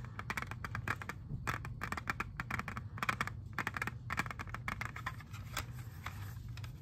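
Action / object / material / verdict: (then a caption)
tap / plastic CD jewel case / plastic / none. Fingernails tap rapidly on a hollow, hand-sized clear plastic jewel case holding an Xbox 360 disc, producing bright, dry clicks over a steady low rumble. The case is turned at the end, adding a brief plastic scrape.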